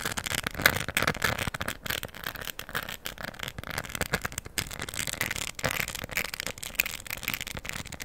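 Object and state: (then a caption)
Plastic rhinestone coaster. A round, flat, solid palm-size diamond art coaster covered in plastic rhinestones in a green, gold and cream floral design is held in one hand and scratched and tapped with long pointed acrylic nails. The result is a dense, continuous stream of fine, bright clicks and crackly scratching with a scattering of sharper taps, all very short with almost no ring.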